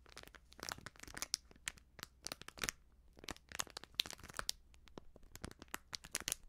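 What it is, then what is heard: Crinkled plastic-foil sachet. A small, flat, sealed plastic-foil sachet of baking soda, hollow and filled with powder, is held in both hands and crinkled and scratched with long nails. Dense bursts of bright, sharp crinkling and crackling come in quick clusters with very short decay, over a faint steady low hum.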